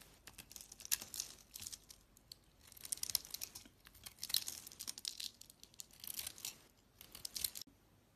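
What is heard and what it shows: A hand-sized solid blue soap bar with a white core is carved and scraped with a utility-knife blade, chips falling away. Bursts of bright, crisp scraping and crackling come in short clusters separated by near-silent pauses, with almost no low end.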